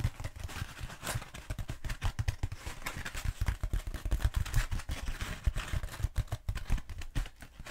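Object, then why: Foam roller. Long nails tap and scratch a long black foam roller, first held upright and then held horizontally. Dense, quick, dull low thumps follow one another without pause, each dying away almost at once, with a faint scratchy hiss between them.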